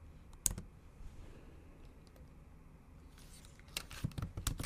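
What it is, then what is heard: Laptop keyboard with plastic keys. Long acrylic nails tap on the black plastic keys of a MacBook Pro keyboard set in an aluminum body, typing in Japanese. A single sharp, bright click stands out early over a faint low hum. A quick, uneven run of crisp clicky taps follows near the end.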